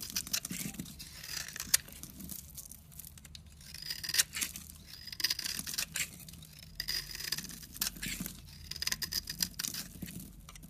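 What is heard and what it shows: A utility knife blade shaves fine slivers off the edge of a solid rectangular orange bar of soap held in the hand, with the crumbs piling up behind the blade. The clip is a quiet run of crisp, bright scraping and crackling strokes that come in clusters with short pauses between them. There is almost no low end.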